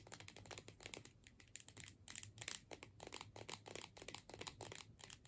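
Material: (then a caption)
Plastic. A filled plastic tube with a metal screw cap is held in the hands while long nails tap along the tube body. The result is a rapid, uneven run of quiet, bright, dry clicks with a little crinkly scratch between them. Each click dies away almost at once.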